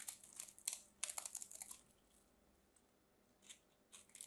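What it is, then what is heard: Bar soap being cut and scraped. A solid pink bar soap held in the hands is cut and scraped with a small craft knife. It makes dry, bright crackling and scraping bursts, densest in the first two seconds. After a quiet pause, a few more short scrapes follow near the end.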